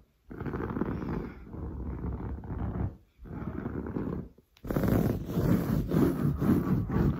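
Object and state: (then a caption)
Woven fabric sofa upholstery being scratched. Long blue nails scratch fast and hard across a padded, grey-brown textured woven sofa fabric. The result is a dense, rough, rasping scrub heavy in the lows, in bursts with brief pauses near the 3 and 4.5 second marks. The final stretch is louder and brighter.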